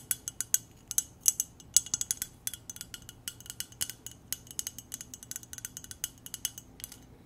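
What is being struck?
Clear glass mug.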